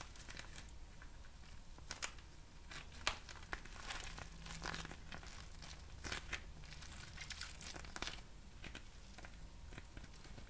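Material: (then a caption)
Plastic film. A small, clear, patterned plastic packaging pouch made of thin, hollow film is held close to the mic and crinkled and squeezed with fingertips and long nails. It produces continuous soft, bright crinkling, broken by sharp crackles and snaps, over a steady low background hum.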